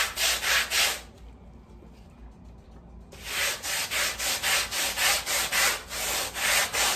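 A long-handled black bristle brush scrubs back and forth across a small, wet, foamy woven fabric rug. Each stroke makes a rhythmic, bright, hissing swish. A quiet pause of about two seconds comes before the scrubbing resumes at a steady pace.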